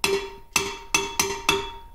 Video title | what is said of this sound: Infill cavity grouting steel parts on a DIY CNC machine. Modified PrintNC. | that ring sound like that's kind of how it all sounded